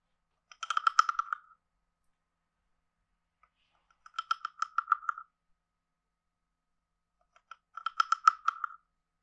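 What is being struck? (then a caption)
Carved wooden frog guiro scraped with a stick. A hand-sized hollow carved wooden frog guiro has a wooden stick scraped along its ridges and tapped, in three separate bursts. Each burst is a quick run of dry, woody clicks centered on a hollow mid tone around 1.3 kHz, with faint brighter overtones and no lingering ring.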